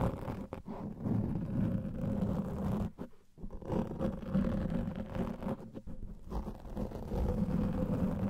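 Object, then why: Foam microphone windscreen. Fingertips and short nails of both hands scratch and rub a large, soft, porous black foam windscreen over a microphone. The result is a dense, muffled, low scratching rumble with almost no bright content. Brief quieter dips come around the third and sixth seconds.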